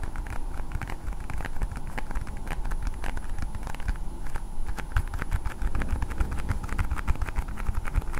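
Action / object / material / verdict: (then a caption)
tap / hard plastic toy ball tapped and scratched with fingernails / plastic / none. A hand-sized, hollow-looking hard blue plastic toy ball is held in both hands and tapped and scratched with long painted nails. A steady stream of quick, sharp clicks and scratchy crackles plays over a dense low rumble throughout.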